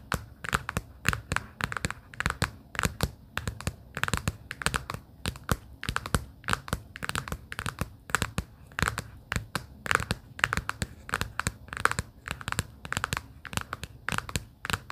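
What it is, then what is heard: Cardboard folder tapped with fingernails. Long pink acrylic nails repeatedly tap and scratch the thin covers of a pastel plaid cardboard sticky-note folder lying open. The result is a steady stream of dry, crisp clicks and short scratchy brushes, with bright papery crackle over a soft low thump.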